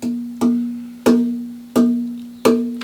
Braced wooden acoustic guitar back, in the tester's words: there's good sustain in this